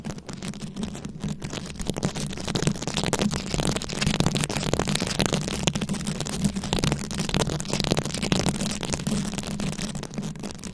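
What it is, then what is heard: Rhinestone-covered microphone. A round microphone covered in plastic rhinestones is held in both hands while long pointed nails scratch and tap the beads. The result is a dense, continuous stream of crisp clicking and rasping that stays close and steady, with a low hum underneath.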